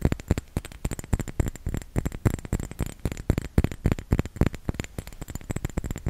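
A small round glass bottle filled with red liquid is held in both hands and tapped with the fingertips. The taps come quickly and unevenly: soft, dull, low-heavy knocks that die away almost at once, with faint bright clicks on top.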